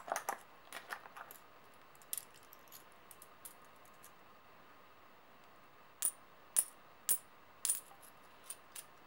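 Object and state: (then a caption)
Metal coins jingled in the hand. A few solid metal coins are gathered into an open palm and jingled against each other in the hand. A quick cluster of small clinks opens the clip, followed by scattered faint taps over a quiet background. Then six louder, bright, ringing clinks sound one by one, each fading quickly.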